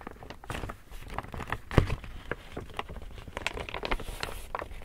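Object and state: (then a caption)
Woven plastic tote bag. Fingertips and a palm pat, tap and rub the printed side of a large, empty, hollow pink woven plastic tote bag. A steady run of soft, dull, bass-heavy pats mixes with light crinkly rustling, and one firmer thump stands out near the middle. Each tap dies away almost instantly.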